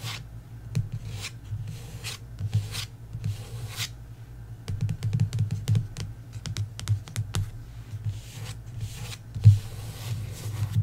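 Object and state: Paperback book cover scratched with nails.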